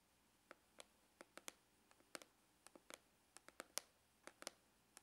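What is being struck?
Faux leather hard glasses case.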